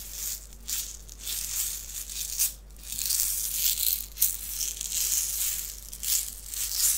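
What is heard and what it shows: A small clear plastic box filled with white beads is held in the hands, tapped with the nails and shaken. The beads make a bright, hissy rattle that swells and fades in uneven bursts, with a few sharper clicks standing out.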